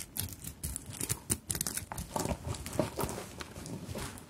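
Long nails scratch and tap the elongated plastic beads and sequins on a sequin-and-bead embellished fabric handbag, up close. The result is a dense run of quick, dry clicks and crinkly rattles with bright highs, overlapping scratches and soft low thumps from the fabric underneath.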